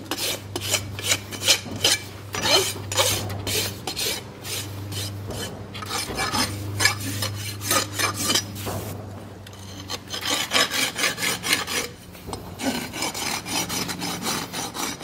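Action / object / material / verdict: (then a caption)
scrape / horse hoof with steel shoe / keratin / none. A flat steel rasp files back and forth across a solid keratin horse hoof wall fitted with a steel shoe and resting on a stand, and it may also catch the edge of the shoe. The rapid strokes give a bright, gritty rasping over a steady low hum, with short breaks near the middle and around twelve seconds.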